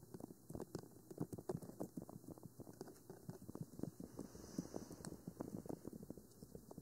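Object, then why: Plastic binaural microphone body. Long manicured nails of both hands tap and scratch a 3Dio Free Space binaural microphone, a black rectangular hollow plastic body with white silicone ears, mounted on a stand. A steady stream of quick, dry, hollow plastic taps with a low-mid knock lands close together, mixed with soft scratching between them. Each tap dies away almost instantly.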